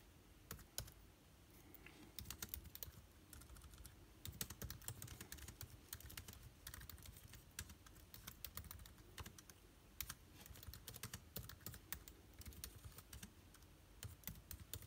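Rapid typing with the fingertips of both hands on a backlit MacBook Air keyboard, its hollow plastic keys set in an aluminum body, with rings on the fingers. The result is a dense, steady stream of short, quick-decaying clicks and taps carrying a low thud and bright edges, with occasional louder keystrokes standing out.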